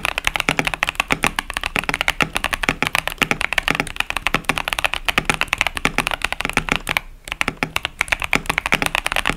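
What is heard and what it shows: Two hands type with their fingertips on a KBD67 Lite 65% plastic mechanical keyboard with Boba U4T tactile switches and Cherry-profile plastic keycaps. A rapid, steady stream of crisp, bright key clacks with very short, dry decay fills the clip, with a soft low thump beneath some presses. The typing pauses briefly near the seven-second mark, then resumes.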